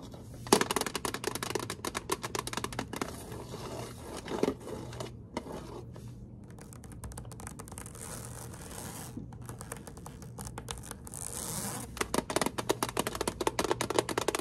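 Long acrylic nails on both hands tap and scratch a hollow, rectangular printed metal Turtles candy tin lying flat on a table. Rapid, bright clicking taps fill the start and end, with softer scratchy rasping in between. A steady low hum runs underneath throughout.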